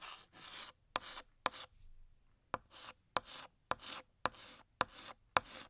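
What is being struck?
Chalk stick on a chalkboard.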